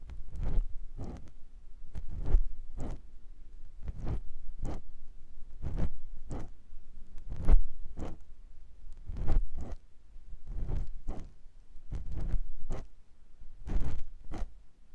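A clear silicone ear pick scratches inside the ear canal of a white silicone ear on a binaural microphone block. It makes soft, muffled, low scraping strokes in short, irregular bursts, each with a faint bright edge that fades quickly.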